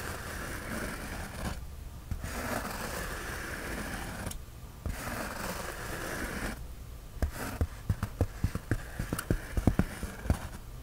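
Fingernails scratch across the surface of a white polyethylene foam sheet, making a steady, rough, low-weighted rasp that pauses briefly twice. In the last few seconds, the scratching turns into a quick run of short, sharp clicks and ticks over a softer scraping bed.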